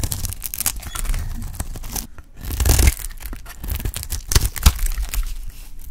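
A solid, dry pink bar of soap held in the hand is shaved with a metal utility blade. Repeated crisp, dry scraping and cutting strokes come in quick succession, with a brief quiet pause partway through before a louder, heavier scrape.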